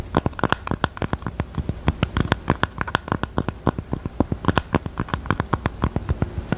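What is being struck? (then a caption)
Velvet-covered heart-shaped jewelry box. Long teal nails tap and scratch the top of a small, hollow, hot-pink velvet heart-shaped jewelry box, near a small metal button. Dozens of quick, dull, muffled taps sound in a steady, uneven patter. Soft scratching fills the gaps, and the sound stays low and soft with little brightness.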